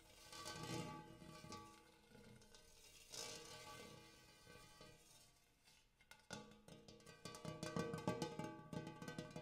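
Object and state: Hammered brass bowl.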